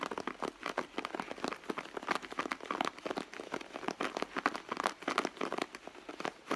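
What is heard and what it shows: Long blue nails on both hands scratch and tap the leather panel of a hollow, soft red leather handbag. The result is a dense stream of quick, dry scratches and light taps with a crinkly, crackling texture, mostly in the mids with almost no low end.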